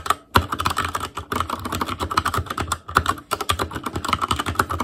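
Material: Plastic.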